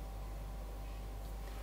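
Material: Nothing is struck.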